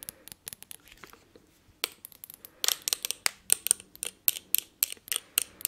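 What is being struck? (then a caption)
Thick glass perfume bottle tapped with fingernails. Long nails tap a thick, palm-sized blue textured glass perfume bottle with a silver cap. The result is an uneven run of sharp, bright clicks with scratchy edges, growing louder and more regular toward the end. Each tap stops dead with no ring.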